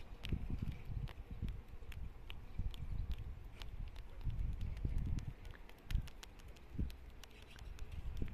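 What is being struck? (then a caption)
Living tree trunk with rough bark. Long nails tap and scratch the rough bark of a solid, living tree trunk in a garden. Soft, dull low thumps and rustling scrapes are dotted with quick, sharp, bright clicks that stop almost instantly. The tapping stays quiet and steady throughout.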